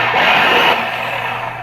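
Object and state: Nothing is struck.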